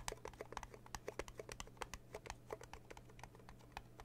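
Fingertips and long blue nails rapidly tap on the lid of a small red metal tea tin, producing a quick series of sharp, keyboard-like clicks with bright tops. Each tap dies away almost instantly over a steady faint low hum.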